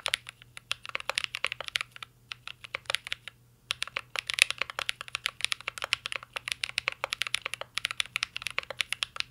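Fingertips of both hands type on a full-size CYBERBOARD R3 mechanical keyboard with an aluminum case, plastic keycaps and Holy Panda switches. A steady stream of crisp, bright clicky taps comes in quick bursts, with a brief pause around the two- to three-second mark. A faint low hum sits underneath.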